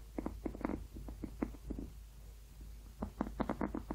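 Painted fingernails scratch and tap along the ribs of a hollow, blue ribbed rubber hot water bottle held close. The result is soft, muffled, rapid taps and scrapes with a dull low-mid tone and almost no ring. They come in two busy clusters separated by a quieter stretch in the middle.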